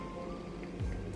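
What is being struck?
Nothing is struck.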